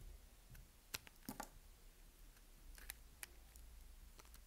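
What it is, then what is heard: Bar soap being carved. A solid white bar of soap, held in the fingertips, is carved with a utility knife blade, peeling off thin curls. Quiet, sharp, bright crisp clicks and crunches pop out over a low steady background, with the loudest snaps standing apart near the start and middle.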